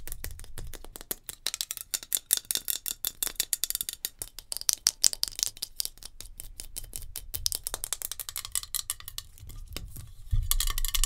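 Long nails tap rapidly on a metal hairspray can, producing a dense stream of sharp, bright metallic clicks with almost no ring between them. A low, steady rumble sits under the taps, and a louder, fuller burst comes in near the end.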